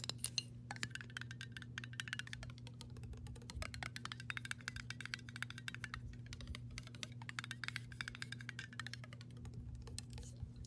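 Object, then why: Metal screw lid on a glass jar. Long pink nails rapidly tap and scratch the flat gold-toned metal screw lid and its ring on an upright glass mason jar of water. The result is a dense stream of quick, bright clicks and scrapes that die away almost instantly, over a steady low hum.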